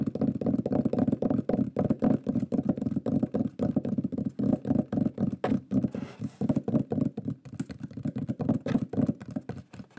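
A large, flat, solid wooden shield-shaped pyrography plaque with a burned lion design is held upright and tapped rapidly with the fingertips and nails. It gives a fast, uneven stream of short, dull, woody knocks centred low around 250 Hz. The taps die away almost instantly and break briefly just before the six-second mark.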